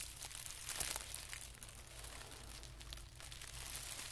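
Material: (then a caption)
Paper. A folded band of thin white tissue paper is pressed flat with fingertips, then pinched and folded. Soft, bright crinkling and papery rustling rise and fall throughout, with the sharpest crackles near the start, over a faint steady low hum.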